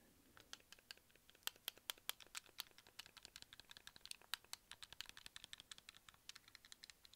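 A white, hand-sized, hollow hard-plastic Wii remote with a wrist strap is held in one hand and tapped with the fingertips and nails of the other. A quiet, steady run of dozens of quick, dry clicks and taps follows, bright and sharp with almost no low end. Each tap dies away at once, with no ring.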